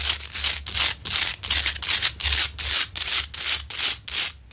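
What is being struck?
Large rock-salt lamp.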